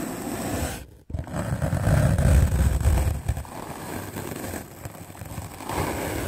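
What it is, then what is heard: Melamine foam sponge being brushed. A white rectangular magic eraser block of solid melamine foam, held in the hand, is scrubbed aggressively with a medium black-bristle paint brush. The result is a fast, dense, low rumbling scrape that breaks off briefly near the start, then swells loudest before settling into a steady, rough brushing.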